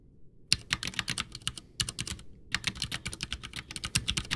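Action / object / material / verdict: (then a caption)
tap / plastic mechanical keyboard / plastic / none. Both hands type with their fingertips on a full-size, backlit white plastic mechanical keyboard (Ducky One 2 with Cherry MX Brown switches) whose hollow case rests on a desk. Quick, bright, clacky keystrokes with low thock underneath come in two rapid bursts separated by a brief pause, each press and tap dying away almost instantly.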